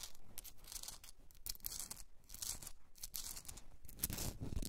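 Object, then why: Rock salt candle holder. Long red nails scratch the rough crystalline surface of a hand-sized pink Himalayan salt rock candle holder while it is held. The result is a run of quick, dry, gritty scraping bursts with a bright hiss on top and a soft low rumble beneath, growing a little louder toward the end.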